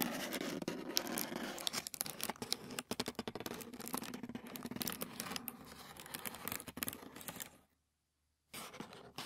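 Fingertips and short nails scratch and tap a thin white tissue paper sheet lying flat on a wooden table, making dense, bright, papery scratching with rapid irregular taps and crinkles. The sound stops briefly for about a second near the end, then the scratching resumes.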